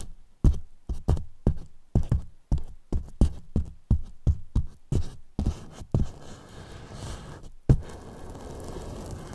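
Two wooden brush handles tap and press against the left and right sides of a large white hollow polyethylene foam box, making a quick series of deep, dull thuds with almost no ring. After about six seconds, the taps give way to a steady, soft rubbing, broken once by a sharper knock near the end.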